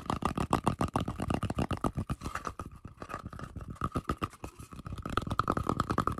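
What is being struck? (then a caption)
Wooden log slice. Fingertips and nails rapidly scratch and tap across the cut face of a round, solid wooden tree-trunk slice with a bark rim, held in both hands. The result is a fast, irregular stream of short, dry taps and scraping clicks with soft low thumps and a faint steady tone around 1.2 kHz, easing slightly in the middle before picking up again.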